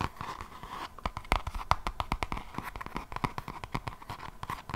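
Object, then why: Paper page edges of a closed hardcover notebook. Long nails scratch the paper page edges of a closed hardcover notebook held edge-on, making a steady stream of quick, dry, crackly scratches and clicks. The short, sharp ticks come in a rapid, uneven rhythm over a faint continuous hiss.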